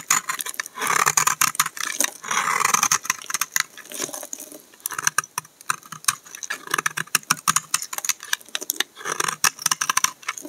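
A snap-off utility knife blade repeatedly scrapes and shaves flakes off a solid brown laundry soap bar held in the hand. The result is a rapid run of short, dry, crisp scraping ticks with bright high-end texture. Brief denser shaving bursts break up the run, and there is no low rumble.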